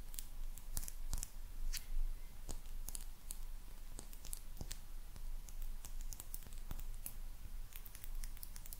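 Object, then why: Glazed ceramic cat figurine. Long nails tap and click across the glazed surface of a small, hollow ceramic maneki neko lucky cat figurine. Quick, dry, bright clicks scatter irregularly over a steady low hum, each dying away almost at once.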